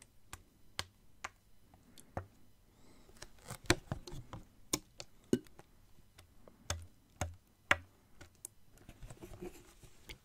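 Fingernails tap on a clear plastic water bottle with water inside, including its bottom, as the bottle is turned. The result is an irregular series of quiet, sharp, bright clicks that die away almost instantly, with soft low handling and sloshing sounds between them.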